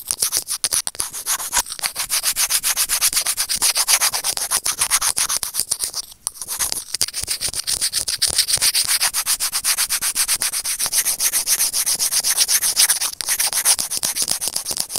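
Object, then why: Plastic earphone inline microphone remote rubbed with plastic tweezers. Closed serrated plastic tweezers rub and scratch a small, hollow white plastic earphone inline microphone remote. A dense, rapid run of bright, crackly scraping continues for the full clip, with only a brief dip in loudness around the six-second mark.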